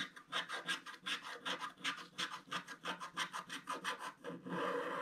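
A wooden stylus scratches dense strokes across a flat scratch-art paper page in a book lying flat, removing black coating to reveal the gold foil beneath. About nineteen quick, dry, rasping strokes follow in a steady back-and-forth rhythm. They end in a longer continuous scratch with bright, high hiss.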